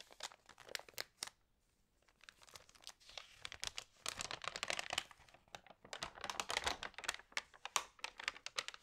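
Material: Coated paper.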